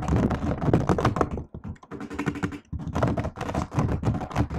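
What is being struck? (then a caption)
Laptop keyboard with plastic keys in an aluminium body. Fast two-handed typing with fingertips and nails on a silver laptop keyboard with black plastic keys in an aluminium body. The result is a rapid, uneven stream of short, dull clicks and taps with a low, thumpy body, broken by a brief lull in the middle before the typing picks up again.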